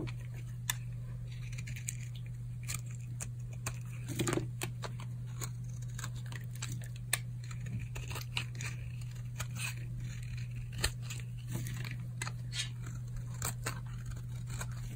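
A utility knife blade scrapes a solid, dry pink oval bar of old soap held in the palm, making crunchy shavings. Many short, crisp scrapes and crackles sound over a steady low hum.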